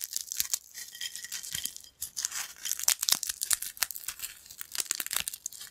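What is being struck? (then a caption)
Thin corn chips. Thin, crispy yellow corn chip fragments piled on a black plate are crushed and crumbled between fingers. A dense run of sharp, bright crackles and crunchy snaps follows, with almost no low end and each crack dying away quickly.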